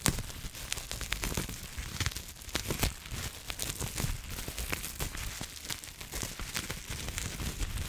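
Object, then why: Plastic bubble wrap. Long nails scratch and squeeze clear plastic bubble wrap held in the hands. A steady crinkling, scratchy rustle is broken by frequent sharp, bright crackles and soft pops, with a low, muffled handling rumble underneath throughout.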